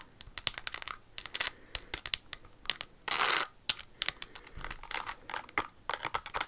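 Long acrylic nails tap and scratch a hollow pink Jimmy Choo stiletto pump held in the hands, its surface covered in rhinestones and crystals with a crystal flower on the toe. A rapid string of sharp, bright clicks and ticks is heard, with a longer hissy scratching burst partway through, each hit dying almost instantly.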